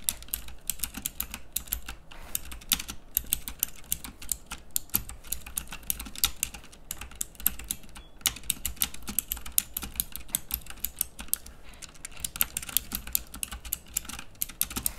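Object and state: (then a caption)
Plastic mechanical keyboard. A pink plastic mechanical keyboard with backlit round keycaps is typed on rapidly with fingertips. Dense, bright clicky keypresses rattle out continuously, each one sharp and short with almost no ring, over a faint low hum.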